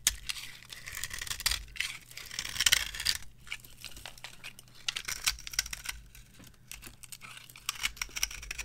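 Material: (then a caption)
Soap. A metal knife scrapes thin shavings off a solid, dry, varnished bar of soap resting on a palm. It makes bright, crisp scraping and crinkling bursts that come in uneven runs, with quiet pauses between strokes and very little low end.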